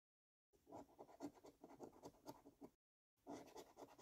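A metal coin scratches the latex coating off a thin, flat "5 Years For You" lottery scratchcard lying on a dark wooden table, held in place by fingertips. Quick, dry, rasping scrapes come in rapid bursts for about two seconds, followed by a short pause and then another run of scraping.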